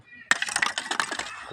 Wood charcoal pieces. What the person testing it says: กิ๊งก็แตกดีนะแตกดีนี่ถ่าน